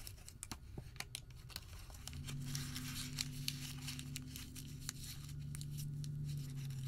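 A white thermal paper receipt is crumpled small, stretched open, then re-crumpled with the fingertips, giving dense, bright crinkling and sharp crackles. From about two seconds in, a steady low hum sits underneath the crinkle.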